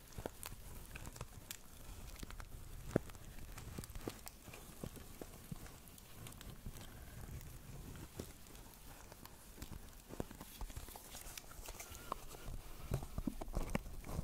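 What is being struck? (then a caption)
Woven plastic-strip basket. A small, hollow pink basket woven from plastic strips is held in both hands close over the mic and tapped and scratched with long nails. A steady stream of quiet, dry clicks and crackly scraping scratches runs through the clip, with sharp brief taps that stop at once, over a soft low rumble.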